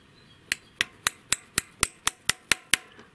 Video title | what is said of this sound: Расход масла? Дым из выхлопной? Простой способ. Замена сальников клапанов маслосъемных колпачков | Можно прям чуть-чуть постучать. Слышно металлический звук, значит, маслосъемный колпачок сел на свое место.